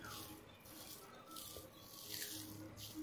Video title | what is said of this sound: pudina powder -Mint powder-unique method-no sunlight-no oven-no microwave #pudina | कितनी अच्छी क्रंची हो गई